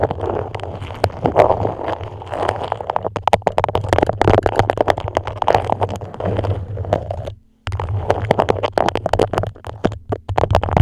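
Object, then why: Beeswax-coated fabric wrap. A dark patterned beeswax food wrap, a thin, flexible waxed cloth pulled tightly over a microphone head, is scratched and grasped with long acrylic nails. This produces dense, crinkly crackling and scratching over a steady low hum, with a brief silent break about three-quarters of the way through before the scratching resumes.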